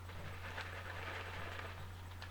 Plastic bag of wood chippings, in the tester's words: we can hear all the wood chipping rattling in there